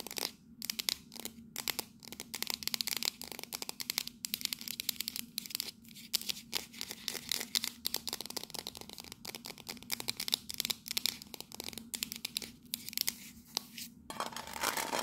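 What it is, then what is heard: Metal coffee tin. Long nails rapidly tap and scratch the front of a tall cylindrical metal coffee canister with a paper-look label, held upright. The sound is a dense stream of bright, dry clicks and scratchy rasps that stop instantly, over a faint low hum. It ends in a brief burst of continuous scratching.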